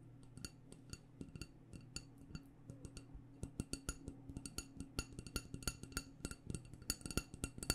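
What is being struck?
Wax-filled glass candle jar.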